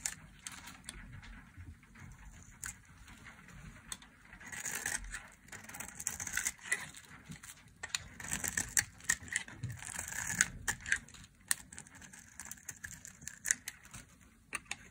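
A solid red ridged bar of dry soap, held in a hand with long nails, is carved into thin flakes with a metal blade. Bright, crisp scraping strokes repeat as the blade shaves the soap, each with a short dry crackle and no ring.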